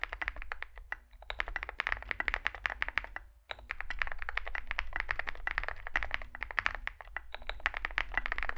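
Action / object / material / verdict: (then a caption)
tap / mechanical keyboard with plastic keycaps and metal case / plastic / none. Two hands type with their fingertips on a Zoom65 65% mechanical keyboard with a solid metal case and grey and white SA-profile plastic keycaps, resting on a desk mat. A fast, steady stream of sharp, bright clacks carries over a low hum, with a brief pause around the middle before the typing picks back up.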